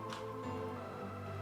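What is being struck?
Nothing is struck.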